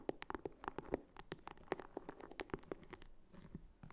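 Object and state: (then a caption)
Faux leather wallet tapped and scratched with fingernails. Long fingernails tap and scratch the back and top of a small red croc-embossed faux leather clutch wallet with a flap and metal snap, standing upright. A rapid, uneven series of short, dry taps with a hollow mid-pitched knock is heard, each dying away almost instantly, mixed with bright scratchy clicks. Near the end it eases into softer, quieter scratching with a few final taps.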